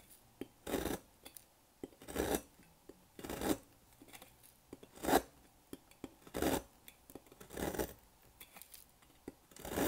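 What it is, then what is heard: Dry bar soap. A solid rectangular pink bar of dry soap, held by hand over a table, has its end shaved and cut with a thin metal blade, leaving powdery crumbs. Short, dry, raspy scraping strokes come in an uneven rhythm, with small crisp clicks and crumbly ticks between them. Each stroke is bright and gritty and stops quickly with no ring.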